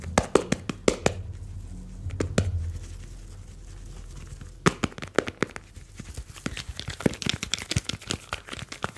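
A smartphone with a glass screen and metal back is held in both hands while fingertips rub and tap its metal back and glass front. Quick, dry taps and clicks die away almost instantly over soft rubbing, with a low hum under the first few seconds and a quieter stretch in the middle. The tapping then picks up again into a dense, brighter flurry toward the end.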